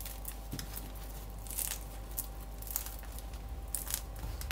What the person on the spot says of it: Gerçekten çıtır çıtır, umarım bunu duyabilirsiniz.